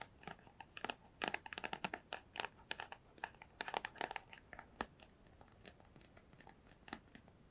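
Long pale nails tap and scratch a small, hollow, empty-looking white cardboard product box held up close to the microphone. Quick, dry, crinkly taps with a hollow mid-range knock and bright papery edges come in dense irregular bursts over the first five seconds. They then thin out to softer, sparser scratches with a few louder taps.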